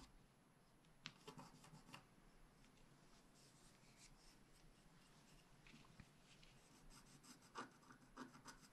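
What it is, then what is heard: Scratch art paper being scraped. A wooden stylus scrapes a flat, wax-coated sheet of scratch art paper, first across the tree trunk area at the left, then near the unicorn's head. Soft, quiet rasping runs throughout, broken by brief, sharp, bright scratches that stop dead with no ring.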